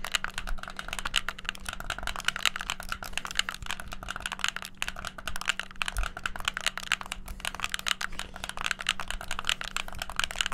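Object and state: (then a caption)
Plastic game controller buttons clicked. A hollow white plastic gamepad has its buttons and shoulder triggers clicked rapidly with the fingertips, producing a dense, continuous stream of sharp, bright plastic clicks. A faint steady low hum runs underneath throughout.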